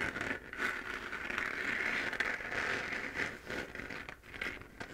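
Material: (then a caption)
Plastic. Long nails on both hands scratch the sides of a hollow, glowing 3D-printed plastic moon lamp. The result is a steady, dry, crackly scraping, strongest in the upper mids with a bright, hissy edge. It swells and dips in irregular strokes with almost no low end.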